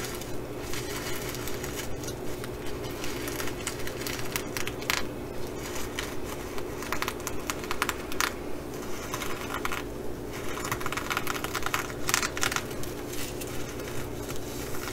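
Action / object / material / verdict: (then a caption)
scrape / reversible sequin fabric bag / plastic sequins / none. Long nails scratch across a reversible flip-sequin fabric bag with both hands, flipping the sequins back and forth. The result is a steady stream of dry, crackly scratching and bright clicking bursts over a constant low hum.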